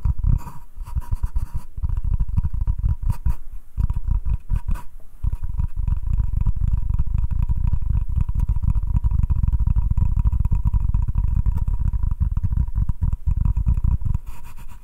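Fingertips and short nails tap and scratch the surface of a solid butcher-block wooden cutting board. The sound is a dense run of soft, low, dull taps blending into a steady scratchy rubbing that carries on for most of the clip, with a faint hum underneath.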